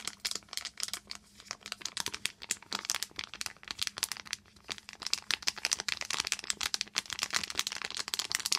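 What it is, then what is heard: Foil plastic pouch crinkled and tapped. A small silver-and-clear foil plastic pouch with a silicone sponge inside is crinkled and tapped with long green nails. Dense, bright crinkling and crackling snaps come in quick bursts that grow busier and louder toward the end, over a faint low steady hum.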